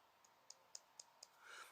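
Five light, high-pitched clicks as the mineral glass crystal of an MDC Infantry military-style quartz field watch, bought for £23, is tapped, the first tap fainter than the rest. Each tap is short and bright with almost no ring, and a soft breathy swell follows at the end. The crystal sounds relatively substantial rather than thin for its price.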